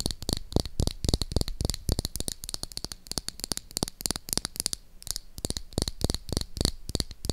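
Long acrylic nails tap and scratch along a small, hollow, hot-pink plastic toy lipstick tube held in one hand. Quick, irregular taps land as sharp, dry clicks that die away almost at once, with a thin scratching hiss between them.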